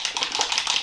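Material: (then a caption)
Plastic. A plastic bottle of Etude House Sunprise Mild Airy Finish mineral sunscreen is shaken, and the little mixing ball inside rattles against the watery liquid in quick, bright, clicky taps with no low end. The formula is quite watery, so it has to be shaken before every use.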